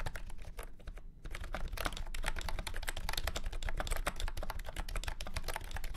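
Fingertips type fast on a full-size beige and orange plastic retro keyboard with round keycaps and a hollow body, resting on a felt mat. A dense stream of short, clacky keystrokes with a low, hollow thud underneath pauses briefly near the one-second mark, then continues steadily to the end.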